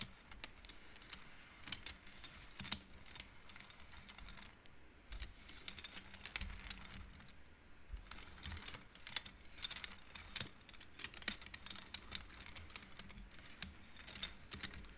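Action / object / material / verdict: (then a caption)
tap / wooden abacus beads on metal rods / wood / none. Fingertips and long polished nails slide painted wooden beads along the thin metal rods of a large upright abacus with a pale wooden frame, tapping and clicking the beads together. The result is a steady stream of quick, dry, bright clicks and clacks that die away instantly, over a faint low background hum.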